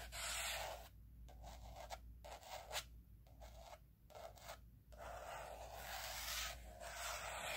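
Fingertips and nails rub and scratch the laminated cardboard cover of a teal spiral-bound planner lying flat. The result is a bright, hissy scraping that drops out in several brief pauses before returning, over a faint steady low hum.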